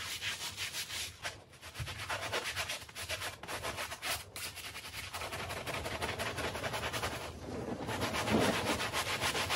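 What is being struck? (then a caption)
Woven textile rug scrubbed with a bristle brush. A light-blue handheld bristle brush scrubs a small, dirty, patterned woven textile rug that is wet with foam. It makes steady, bright, scratchy rubbing strokes at roughly three to four per second, with a wet, foamy hiss. The scrubbing grows a little louder and denser toward the end.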